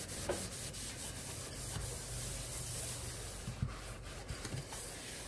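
A hand scrubs the walls and bottom of a large, hollow double-basin stainless steel kitchen sink, dusted with cleaning powder, using a yellow sponge. A steady, gritty rubbing hiss carries bright, airy texture over a low, droning hum. Soft hollow thumps from the basin surface near the end.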